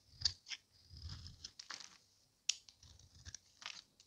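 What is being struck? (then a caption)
Bar of soap shaved with a small knife. A hand-sized, solid orange Camay bar of dry soap, held in one palm, is scraped and shaved with a small metal knife blade, sending flakes onto the table. Quiet, bright, crisp scraping strokes with a dry hiss come in short bursts, some sharp and clicky, with a faint low rumble underneath.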